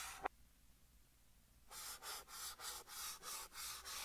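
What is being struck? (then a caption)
Chalk stick on chalkboard. Fingertips draw a pink chalk stick across a large flat green chalkboard, with the sound played in reverse. A single sharp tick comes first, followed by a quiet pause, then about eight bright, raspy scratching strokes in a steady rhythm.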